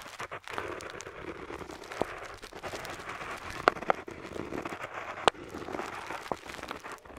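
An ornate metal dip pen nib, held in the fingertips, scratches across a flat printed parchment-style paper map lying on a table while inking lines. A soft, steady papery scratching runs throughout, broken by a few sharp, bright ticks as the nib catches the paper.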